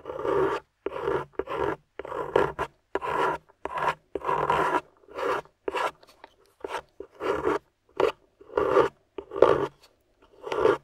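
A small metal pick with a wooden handle scrapes across the solid surface of a grey plaster dig block embedded with yellow plastic fossil pieces, while fingertips hold the block steady. Short, gritty rasping strokes repeat in separated bursts, each a dry scratch centered in the low-mid range with a faint bright hiss, stopping abruptly between passes.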